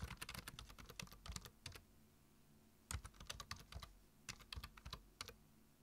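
Fingertips type on a black plastic computer keyboard, tapping the keys in quick bursts with short pauses between them. Each keystroke gives a sharp, bright click over a low thud, ringing out almost immediately.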